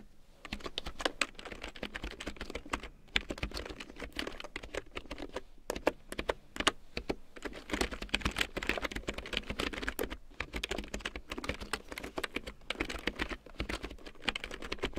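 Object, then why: Plastic computer keyboard. A full-size large-print keyboard with a black plastic frame and big yellow plastic keycaps, lying on faux fur, is typed on with long painted nails and fingertips. Quick, dry plastic taps and clicks run in dense, uneven bursts for the whole clip, with short pauses near 3, 5.5 and 10 seconds. Each tap dies away almost instantly, leaving a steady, busy clatter.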